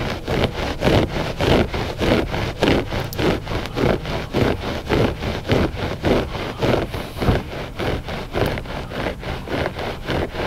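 Short fingernails scratch the pile of a flat, gray, solid and soft loop-pile textile rug. The result is a steady series of rough, raspy scrapes, about 100 strokes per minute and fairly regular in rhythm. Each stroke is a brief broadband rustle with a low, soft body and little bright content.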